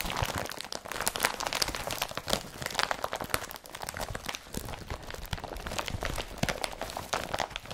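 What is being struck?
Woven polypropylene carrier bag.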